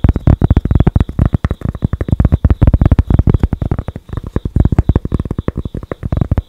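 Long acrylic nails rapidly tap and scratch a thin, flat cork board held close to the mic, making a dense run of dull, bass-heavy thuds with a soft scratchy texture. Each hit dies away almost instantly, with a brief pause near the middle before the tapping resumes. A faint steady high tone sits under the taps throughout.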